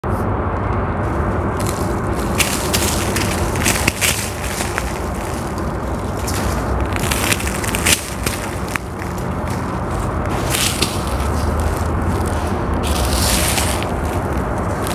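Bare fingertips dig into a large, dry mound of grey sand-cement mix that is solid and crumbly, breaking off clumps that crumble and pour through the fingers. A steady, dense gritty crackle and rustle runs throughout over a low rumble, with brighter crunchy bursts as pieces break apart.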